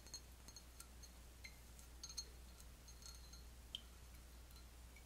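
An empty, stemmed, patterned cut-crystal wine goblet is held in the hands and tapped with long fingernails. It gives scattered, irregular bright clinks that chime high and fade almost instantly. A steady low hum sits underneath.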